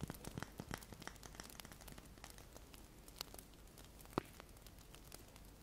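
Fingertips and medium nails tap and scratch along the side and top of a large, solid, unlit cream-white wax pillar candle held in both hands. Quiet, dry crackling taps and scratchy rustles come in a dense cluster at the start, then thin out over a soft continuous scraping. A single sharper, louder tap stands out near the end.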